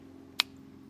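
A magnet taps once against the steel door panel of a 1969 Pontiac LeMans, making a single sharp, bright click with almost no ring. The door is solid steel with no body filler, the same as the fender, and the magnet pulls fully onto it.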